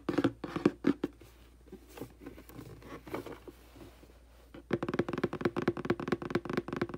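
Fingertips and long nails tap and pat on the front and then the back of a hollow, printed cardboard aquarium box. A quick cluster of dull, hollow taps gives way to a quieter stretch of soft scratching and patting, then a fast, uneven run of tapping with a low-mid knocking tone.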